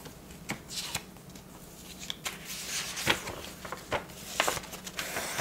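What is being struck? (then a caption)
Bound paper ledger book. Hands press, rub and smooth flat the paper pages of a bound ledger book lying open on a table, lifting the page edges, with an unused pen lying nearby. Soft, bright rubbing and crinkling is broken by a series of short, sharp paper crackles.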